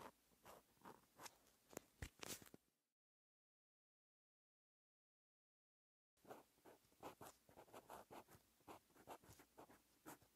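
A green ballpoint-style pen held in the fingers writes handwritten letters on a lined white paper page in a bound notebook. Short, bright scratching strokes run for about three seconds, then drop to total silence for about three seconds before the writing resumes.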